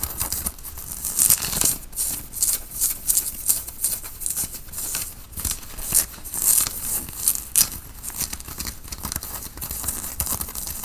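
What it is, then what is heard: Cotton t-shirt being scratched. Fingertips and nails scratch a white printed cotton t-shirt being worn, while the hands pull and stretch the fabric at the collar. The result is a dense, bright, hissing rustle of quick scratchy strokes with little low end, swelling and fading in short, irregular bursts.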